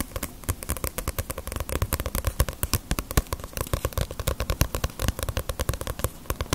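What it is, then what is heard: Paperback manga book. A small, solid Ace of Diamond paperback manga volume with a glossy paper cover is tapped with fingernails on its cover and spine. The result is a fast, steady stream of short, dry taps with a low, thumpy body and bright clicky edges that die away almost instantly.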